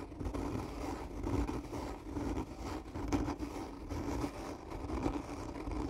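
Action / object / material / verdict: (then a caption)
scrape / cardboard tube / cardboard / none. Long natural nails slowly and firmly scratch along the body of a hollow, black textured cardboard gift tube lying on its side with its end cap toward the camera. The result is a steady, low, dull scraping rumble with a hollow resonant hum around 285 Hz. It swells and dips slightly with each stroke and has very little high-end bite.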